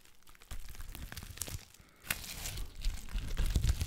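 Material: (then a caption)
Plastic. A sheet of clear plastic bubble wrap held in front of the mic is crinkled and squeezed with fingers and long black nails, making close, dense crackling with sharp pops as bubbles burst. After a brief quiet pause just before the two-second mark, a sharp snap brings back the rustling and popping, which grows louder and heavier toward the end.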